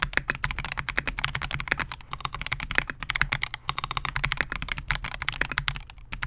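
Fingertips of both hands type continuously on a Melgeek MOJO68, a compact 68-key mechanical keyboard with Gateron G Silver Pro switches, a clear polycarbonate case and SA-profile plastic keycaps, resting on a desk mat. A rapid, steady stream of short, sharp clacks, bright on top with a light low thump beneath, each keystroke dying away almost instantly.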